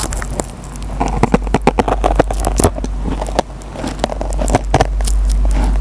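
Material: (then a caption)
Nylon, foam. A metal pen tip scratches and plucks the fibers of a green nylon scouring pad on a dry yellow foam kitchen sponge. The result is a dense, irregular run of short, crackling snaps and scratchy plucks over a steady low rumble.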